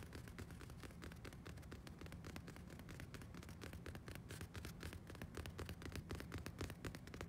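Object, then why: Fabric-upholstered padded sofa arm. Fingernails scratch and tap quickly across a rounded, padded sofa arm covered in beige woven fabric with a small fleur-de-lis pattern. The result is a quiet, irregular stream of short, dry clicks and soft scratching over a low, steady rumble.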